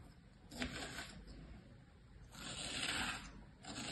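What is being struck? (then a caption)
Kinetic sand in a plastic tray. A thin pointed tool is dragged through pressed kinetic sand with shape imprints in a plastic tray, cutting lines with fingertips near the surface. Three soft, bright, hissy scraping passes are heard, the middle one longest, over a faint low rumble.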